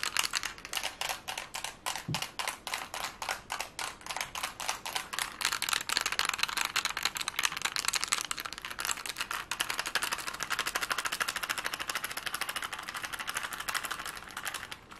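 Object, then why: Plastic puzzle cube. A plastic Rubik's cube has its layers twisted quickly with the fingers, producing rapid, dry, bright clicks with almost no low end. The clicks start as distinct, regular snaps, then speed up into a denser, near-continuous clatter that stays steady before easing slightly at the end.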